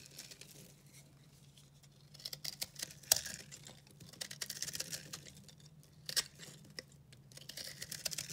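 A solid, dry, blue-green speckled recycled soap bar is held in the hand and cut with a utility knife, with chunks breaking off. Quiet, bright scraping and crisp crackling snaps sound over a faint low hum, with sharper cracks as pieces break away.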